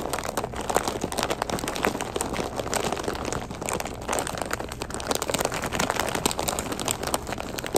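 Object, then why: Flexible plastic snack bag of puffed curls. A medium flexible plastic snack bag with an orange label, full of puffed crispy curls, is held in both hands and squeezed and scratched with fingertips and short nails. It makes dense, continuous crinkling and crackling with many quick, sharp snaps over a steady bright rustle.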